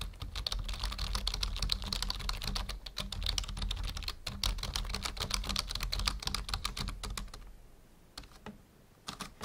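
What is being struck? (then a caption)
Plastic membrane computer keyboard. Fingertips type on a full-size black plastic membrane keyboard resting on a wooden desk. There is a fast, uneven stream of short, bright clicking key taps over a steady low hum. Near the end the typing thins out to a few scattered taps.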